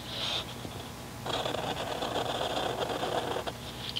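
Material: Paper.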